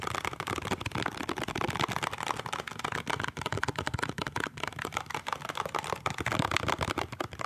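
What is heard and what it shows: A small, hollow cardboard toothpaste box is held end-on and sideways while fingertips and nails tap and scratch its printed end and side. The result is a dense, continuous stream of quick, dry clicks and scratchy rustles with a bright papery edge and almost no ring.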